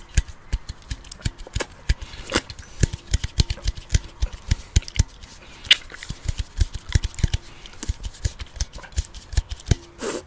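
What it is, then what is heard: Aluminum beer can. Fingertips and nails tap rapidly and irregularly on a large, hollow aluminum beer can of about 650 ml, held in one hand with its fill level not visible. The result is a dense series of short, dry clicks and hollow knocks with a faint metallic ring. A brief soft rustle comes at the very end.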